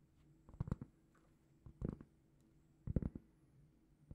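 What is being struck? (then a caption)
Round cork trivet. A large, flat, round, solid cork trivet is held in both hands and gently scratched and tapped with long painted fingernails. Four short bursts of soft, dull, low tapping and scratching come out of near silence, each dying away almost instantly.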